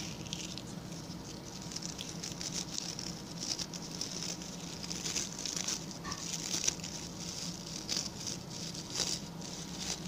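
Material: Coconut fiber.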